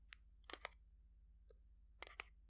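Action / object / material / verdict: tap / paper playing card pack / paper card / none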